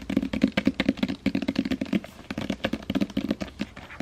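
Long painted fingernails tap and scratch the front cover of a solid, hand-sized hardcover novel (The Seven Husbands of Evelyn Hugo) in a glossy paper dust jacket, held up in both hands. A rapid, uneven series of dry, clicky taps with a hollow low-mid body dies away almost instantly, mixed with soft scratching between the taps.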